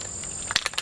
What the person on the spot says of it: You hear the ball in there.